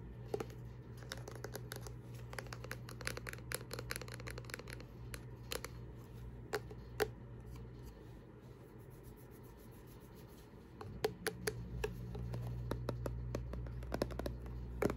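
A small white plastic tube with a light blue cap, a lotion or balm tube that is hollow and likely filled, is held in the fingers and tapped and gripped with long nails. Irregular, very short, dry clicks and taps with bright edges sound over a steady low hum, which fades out briefly in the middle and then returns.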